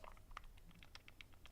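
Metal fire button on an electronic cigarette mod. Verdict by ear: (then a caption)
Loose. A Vaporesso Revenger electronic cigarette mod is shaken, and its metal fire button rattles slightly inside its housing. The result is a quick series of faint, light ticking clicks. The rattle is minor and occurs only when the mod is shaken, not when it is just picked up.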